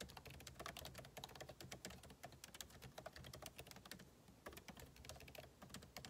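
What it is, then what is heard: Laptop keyboard typing. Two hands type with their fingertips on the backlit keyboard of a MacBook Pro laptop, whose plastic keycaps sit in a hollow aluminum case. The result is a quick, continuous run of short, crisp key taps that die away almost instantly, with bright clicks over a soft low undertone.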